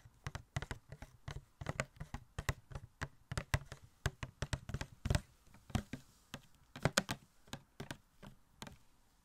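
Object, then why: Small cardboard box with a plastic window. A small, hollow cardboard Elastigirl Funko Pop box with a plastic window is held up close and tapped and knocked with fingertips and nails. Quick, dry, hollow taps and knocks follow one another in an uneven rhythm. Each has a low body around 140 Hz and a short bright click that dies away almost at once.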